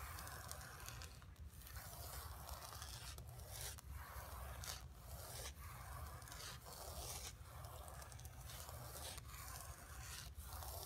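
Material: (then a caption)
Painted canvas. Long pink nails scratch back and forth across the painted surface of a flat painted canvas board lying on carpet. The result is a steady run of dry, bright scraping strokes separated by brief pauses, over a low, soft rumble.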